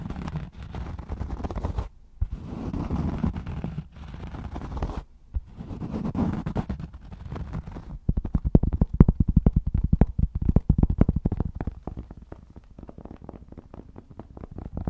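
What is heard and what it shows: A round, flat, solid cork trivet is held in both hands while fingertips scratch its surface in dull, muffled rubbing bursts separated by short pauses. The scratching then gives way to rapid, soft, low tapping that continues irregularly to the end.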